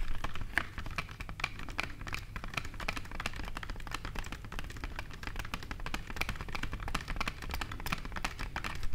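Long nails tap rapidly on the walls of a wide, clear glass vase holding tulip stems on a table. The result is a dense, continuous patter of short, bright glassy clicks with a ring near 1.7 kHz that dies away almost at once, over a steady low rumble.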